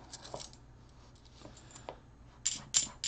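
Fingertips push and slide copper-nickel half dollar coins off a taller stack onto a rubber mat, so the solid metal discs clink against each other as they drop. Five quiet, bright metallic clicks are heard, with faint taps early and louder, sharper clinks near the end, each ringing briefly at a high pitch before fading quickly.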